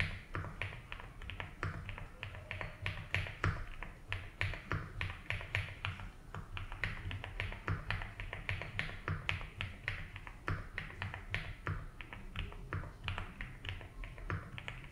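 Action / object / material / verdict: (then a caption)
tap / plastic mechanical keyboard keys / plastic / none. Fingertips type on a 75% mechanical keyboard with ABS keycaps in a light blue plastic case. The result is a steady run of quick, short key clicks with a bright top edge over a low, hum-like rumble.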